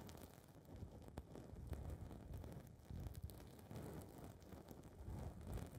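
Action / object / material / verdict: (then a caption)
scrape / foam microphone windscreen / foam / none. Long red nails pinch, scratch and rub a small blue foam ball windscreen on a recorder's mic capsule. The result is a close, muffled, low rumbling rustle with soft crackles and occasional sharper scratchy ticks. It swells and eases as the foam is squeezed and rubbed.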